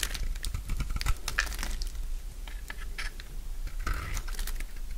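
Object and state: Dry bar soap being shaved.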